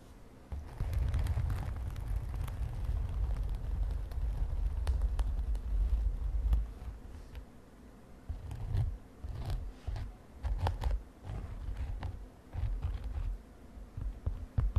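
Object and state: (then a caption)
Glitter fabric cosmetic pouch. A padded mint-green glittery synthetic fabric makeup pouch is tapped and scratched with long nails and fingertips. A dense, muffled, low rumbling scratch runs for the first six seconds or so. After that it turns quieter and breaks into soft, scattered thuds and taps with faint crackles.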